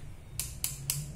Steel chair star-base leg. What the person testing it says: saya ketok-ketok cepet kelihatan besi-besi yang berisi